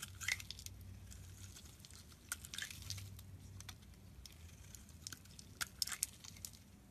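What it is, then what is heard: Bar of soap being shaved. A solid blue bar of soap held in hand is shaved with a metal utility knife blade, peeling off thin curls. Soft, crisp scraping and crunching strokes come in short, bright bursts over a faint low hum, with a few sharper cuts standing out.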